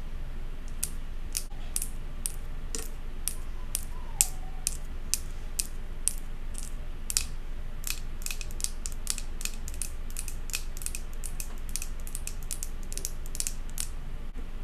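Long acrylic nails tap and scratch rapidly on the glass side of a large glass jar candle with a metal lid, filled with solid white wax. Sharp, bright clicks repeat quickly over a steady low hum, with very short ring and no other sounds.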